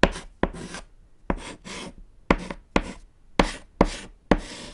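A thick white edible chalk stick held in the fingers writes on a small, flat, solid black chalkboard panel resting on a table. Each stroke starts with a sharp tap and turns into a short, gritty scratch. Brief pauses separate the strokes, which carry a dry, bright rasp over a faint low thump.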